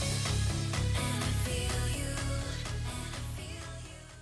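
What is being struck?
Nothing is struck.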